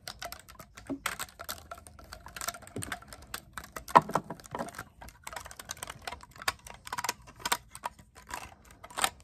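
Fingertips rapidly press and tap the silver metal keys of a black clarinet, a hollow tube shown close up and briefly tilted sideways. The result is a fast, irregular stream of short, dry clicks that sound much like keyboard typing, with a few sharper, louder taps standing out.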